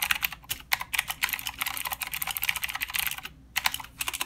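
Fingertips of both hands type continuously on a full-size mechanical keyboard with plastic keycaps and blue clicky switches. The result is a rapid stream of sharp, bright clicks with almost no low end and no ring, pausing briefly just before the typing resumes near the end.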